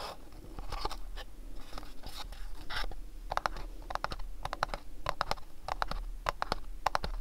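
Fingernails scratch and tap the front and sides of a small, hollow, house-shaped printed cardboard gift box held in the hands. Soft, papery scratching over the first few seconds gives way to quick clusters of dry, hollow taps with a mid-pitched knock around 800 Hz, each dying almost instantly. A steady low hum sits underneath throughout.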